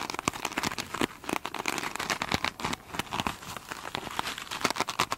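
Long pointed nails on both hands scratch across the top of a single hand-sized, soft, solid foam sponge with a beaded glitter surface. The result is a dense run of short, bright crinkling and crackling scrapes with very little low end.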